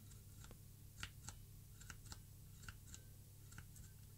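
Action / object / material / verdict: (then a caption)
tap / plastic mechanical keyboard switch tester / plastic / none. Fingertips press the white plastic keycaps of a plastic mechanical keyboard switch tester board, with an index finger repeatedly pressing the top-row keys. A series of short, bright clicks rises above a steady low hum.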